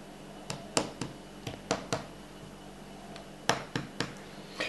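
A round, flat, solid aluminum-core PCB heated bed (MK3 ALU) with red solder mask and printed warning text, about 20 cm across, lies flat on a table while fingertips and nails tap, rub and scratch its surface, apparently picking off small bits. About 11 short, sharp clicks and scrapes ring bright and die out almost at once, spaced irregularly over a faint steady hum.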